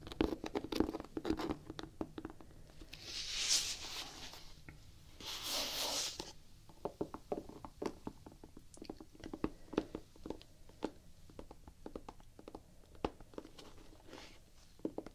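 Long painted nails scratch and tap across the solid, textured gum-brown rubber outsole of a Vans Quasi Signature sneaker held horizontally. Dense, dry clicking and scratching fill the clip, with two longer, bright hissing scrapes around the three- and five-second marks before the taps turn sparser and sharper.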